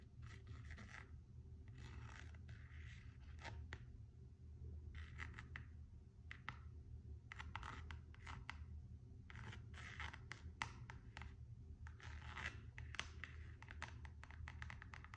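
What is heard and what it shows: Long acrylic nails scratch and tap the printed coated-canvas straps of an empty pair of Gucci coated canvas and rubber slide sandals. Short bursts of bright, rasping scratches alternate with sharp clicking taps. A steady low hum runs underneath throughout.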